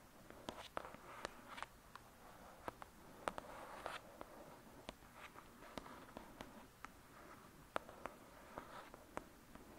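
Long acrylic nails tap and scratch the cover of a thick, solid *Lady Midnight* paperback book lying flat. Quiet, dry, sharp clicks come in an uneven stream over a soft, papery scratching rustle. Each tap dies away almost instantly, with no ring.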